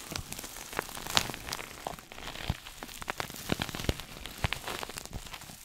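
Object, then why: Coated nylon pouch bag. A small red glossy coated-nylon pouch, a shoulder bag, held close to the mic is scratched with fingernails. The result is a dry, crackly texture of quick, bright scrapes and sharp little ticks with some low thumps, like light rain patter on a surface.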